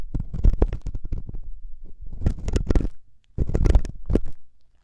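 A thin metal wire ear pick, held by fingers with long nails, scratches and scrapes inside the ear canal of a soft, solid silicone ear on a 3Dio binaural microphone. The result is a close, deep, muffled run of rapid rustling scrapes and crunches, with a brief pause before a final burst of scraping.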